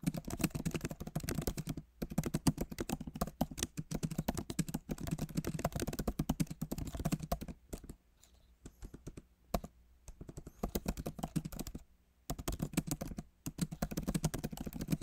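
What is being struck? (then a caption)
Laptop keyboard with plastic keys in a metal body. Fingertips of both hands type fast on the solid, backlit keyboard of a MacBook Pro, its plastic keys set in an aluminum body. The result is dense, rapid runs of short, muted clicks with a low, soft thud and little high-end brightness. The bursts are broken by brief pauses and a quieter stretch of lighter, sparser taps near the middle.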